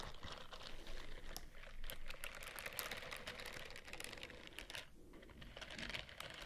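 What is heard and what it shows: Fingernails scratch the bristles of a white silicone scrubbing glove while it is rubbed close to the microphone. A dense, steady stream of fast, crisp clicks and crinkly scratching with bright highs over a low, soft rumble continues without pause, with a brief quieter dip near the fifth second.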